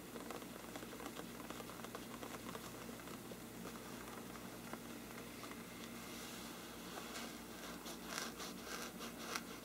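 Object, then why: Parchment paper lampshade. Fingernails of both hands scratch the upper sides of a large, hollow, thin-walled bell-shaped lampshade with a mottled parchment-like paper surface. A quiet, steady, dry scratching patter runs throughout, with brighter, crisper scrapes rising toward the end.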